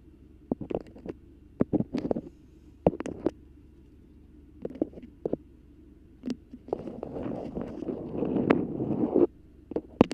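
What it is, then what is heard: Beeswax fabric food wrap. Very long red acrylic nails grip, crinkle and scratch a thin, flexible, patterned beeswax-coated cotton food wrap with pinked edges, held crumpled in one hand. Scattered sharp, bright crackles and taps are followed by a longer stretch of continuous waxy rustling and scratching, then a few final crisp crackles over a faint low hum.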